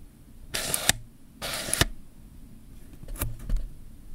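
Fingertips and nails scratch and rub the ribbed zoom ring and rear mount of a hand-sized, hollow black plastic Canon zoom lens held in both hands. Two bright, hissy scraping bursts each end in a sharp plastic click, followed by quieter rubbing with a few light ticks.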